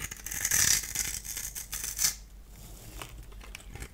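A solid purple bar of soap held in the hand is scored and cut into flakes with a multi-blade cutter. Bright, dry scratching and scraping rises to a dense burst early on, flares again around two seconds, then fades into quieter, scattered scrapes.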